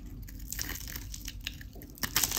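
A craft knife scrapes and cuts along the face of a solid, dry white Dalan soap bar with a pink painted rind, held in the hand. Bright, crunchy crackles and scraping rasps come in quick bursts, growing louder toward the end as flakes and shavings break away.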